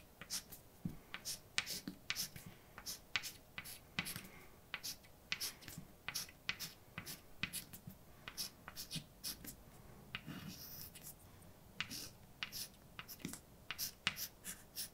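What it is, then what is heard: Chalk writing on a chalkboard. A stick of white chalk in a hand writes on a large, flat, dark, wall-mounted blackboard. Sharp, bright taps and short scratches repeat in quick clusters as the letters are formed. The clicks are crisp and die away almost instantly.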